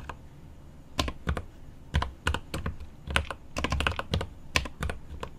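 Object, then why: Mechanical keyboard with plastic keycaps and aluminium case. Both hands type with fingertips on the plastic keycaps of a mechanical keyboard with an aluminum case. Irregular bursts of keystrokes land as short, deep clacks with bright clicky tops, separated by brief pauses over a faint steady hiss.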